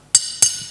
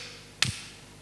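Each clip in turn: First: iron piece unharmed by hammer strikes. Second: wooden block intact after hammer strike.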